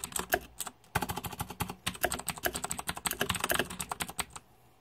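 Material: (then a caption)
Plastic. Fingertips type steadily on a green-backlit 2014 Razer Deathadder mechanical keyboard with plastic keycaps, producing about thirty sharp, bright clicks and clacks that each die away almost instantly. A brief pause comes near the one-second mark, and the typing stops just before the end, leaving a quiet tail.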